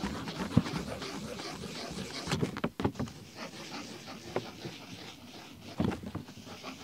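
A blue ballpoint pen scribbles and scratches across the dated pages of an open paper desk diary, with the pages bending and flipping at times. A steady, soft scratching texture continues throughout, broken by a few sharp taps and crinkles.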